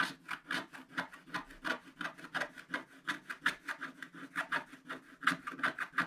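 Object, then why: Coated scratch-art paper on a table, scraped with a wooden stylus. A wooden stylus scratches the black coating off a holographic underwater picture page of a spiral-bound scratch book, a thin coated paper page lying flat on a solid table. About two dozen quick, dry, rasping strokes follow one another in an uneven rhythm, each a brief bright scrape centered around 1.5 kHz with almost no low end. The strokes stop quickly with no ring.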